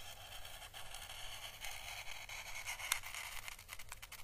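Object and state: Dried Chinese lantern husk being brushed.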